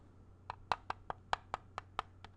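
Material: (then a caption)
Plastic. A small, hollow grey plastic video game cartridge, its ridged back facing up, is tapped with fingertips, nails and a thin tool. The result is ten quick, dry clicks in an uneven rhythm, each a sharp hollow tick centered near 1 kHz with a bright edge that dies away almost at once, over a faint steady low hum.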